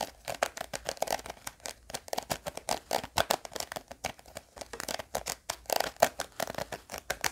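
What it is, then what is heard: Small hard-plastic case. Fingernails scratch and tap the edge of a small, round, pink hard-plastic gum tape case. A rapid, uneven series of short, dry clicks and scrapes sounds around 690 Hz with bright, crisp edges, each dying away almost instantly in a quiet, close space.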